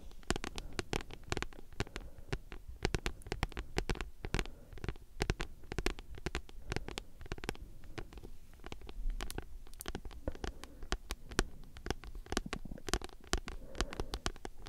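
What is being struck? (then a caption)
Thick paperback book with card cover. Long nails on both hands scratch and tap across a thick, solid paperback book with a glossy card cover. A dense, fast stream of short, dry clicks and scratchy brushes continues throughout, with a soft low thump under the taps and bright crisp edges on each nail strike.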